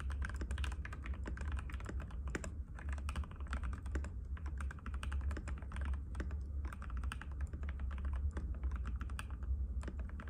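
A compact cream-white plastic mechanical keyboard with plastic keycaps and a hollow case rests on a glass table while fingertips of both hands type on it continuously. The result is a dense, steady stream of rapid, short, clicky taps over a strong low hum around 70 Hz, with brighter clacks scattered throughout.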